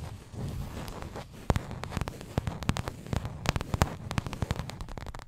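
A small printed paperboard milk carton, hollow, is held and tilted in front of the microphone while long acrylic nails tap and scratch it. A quick run of sharp, dry clicks stands out over a soft, low, scratchy rustle, with a few taps louder than the rest.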